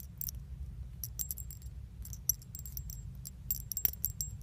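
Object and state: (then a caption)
Metal leaf charms on a chain. Small solid metal leaf charms with a pink iridescent finish hang on a thin metal chain, held close by the fingertips and shaken so the leaves and chain jingle. Bright, quick tinkling clicks with very short ring come in scattered clusters over a steady low hum.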